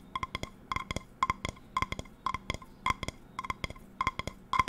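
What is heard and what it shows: Long nails tap the patterned steel base of an empty metal non-stick frying pan close to the mic. About 22 quick, bright taps fall in rapid clusters of two or three, each leaving a brief metallic ring pitched near 1 kHz that dies away almost at once.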